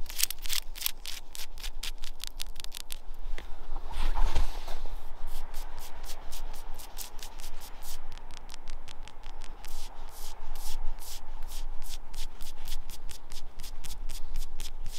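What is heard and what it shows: Long nails scratch and rub up and down the white bark of a living birch trunk, which is solid with dark lenticels. The result is a steady run of short, dry, raspy strokes with almost no ring, over a low constant rumble.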